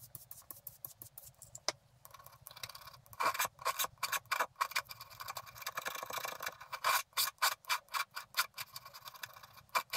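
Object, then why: Scratch-art paper card with black coating, scraped by a wooden stylus. A wooden stylus rubs and scrapes the remaining black coating off a flat scratch-art paper card held in one hand. It makes quick, dry, bright scratching strokes, softer and sparser at first, then louder and denser after about three seconds, each stroke cutting off sharply.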